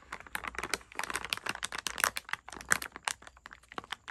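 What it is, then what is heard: Plastic candy bag. A medium printed plastic packaging bag of TNT sour lollipops, full of candies and lying flat on a bed sheet, is tapped and scratched with long red-painted nails and fingertips while the palm rests on the bag. Rapid, dry, crisp ticks and light crinkles follow one another closely in an irregular stream, bright and mid-toned with almost no low end.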